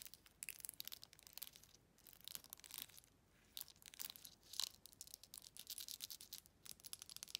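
Long red nails rapidly scratch and tap along the bumpy body of a faceted glass jar with a silver metal lid, held sideways. The result is a dense stream of quiet, bright, crinkly scratches and dry ticks with almost no low end, broken by brief pauses.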